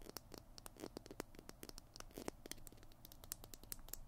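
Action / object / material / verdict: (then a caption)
scrape / plastic glue stick tube and cap / plastic / none. Fingernails scratch and tap along the tube and cap of a small hollow plastic glue stick held in both hands. The result is a quiet, dry, rapid run of crisp scratches and brief clicks with bright edges that stop almost instantly, over a soft low rumble.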